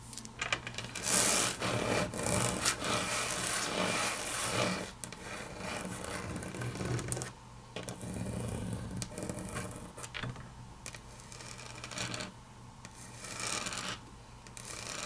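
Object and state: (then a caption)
Laminate table top under fingernails. Long natural fingernails tap and scratch across a large, flat, solid grey wood-grain laminate tabletop. Quick, irregular clicks blend with bright, raspy scraping over a faint steady low hum. The sound is loudest in the first five seconds, then continues more softly.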